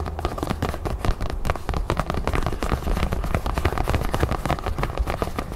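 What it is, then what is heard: Craft foam cutout tapped and scratched with nails. A thin red craft foam crown cutout is held close and tapped and scratched with long nails while being bent. The result is a dense, fast run of soft, dull taps with a low rumbly body and very little brightness, and each hit dies away almost instantly.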